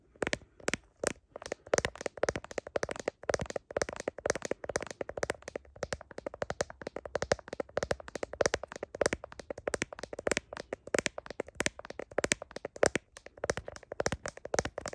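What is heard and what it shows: Long nails rapidly tap and scratch the back of a phone in a blue plastic case with a heart design. The result is a dense stream of quick, dry plastic clicks, centered in the mids with bright edges and almost no ring, with faint scratchy friction between taps.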